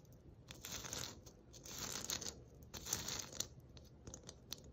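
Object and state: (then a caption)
Glitter-coated foam ornament ball. A palm-sized white glitter-coated foam ornament ball, held in both hands, is scratched and rubbed with long nails. The result is a dry, crackly scraping and crinkling, mostly bright and high-pitched, that swells in long rubbing strokes broken by short sharp ticks.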